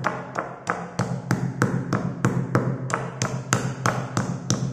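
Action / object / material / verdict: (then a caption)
strike / chalk sticks in a stone mortar / chalk / none. A white pestle held in the hand pounds down on pastel-coloured school chalk sticks in a grey, marble-like stone mortar, crushing the solid chalk, with an open cardboard chalk box beside it. About 15 fairly steady knocks come in quick succession, each a sharp tap with a bright click and a short, low, hollow ring.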